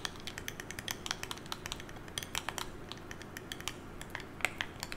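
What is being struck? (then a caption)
Smartphone with glass screen in a hard case. A hand-held smartphone with a glass screen in a solid hard case is tapped with long nails and fingertips in a quick, irregular, typing-like pattern. Each tap is a short, bright click, centered near 2.1 kHz, that dies away almost at once over a low, steady hum.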